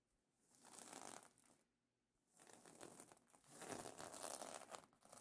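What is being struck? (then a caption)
Plastic sequin fabric pillow cover. Fingertips and nails scratch the iridescent plastic sequin fabric of a pillow cover, making bright, dry crinkling and rustling. The sound comes in two bursts separated by a near-silent pause around the two-second mark, and the second burst is louder and longer than the first.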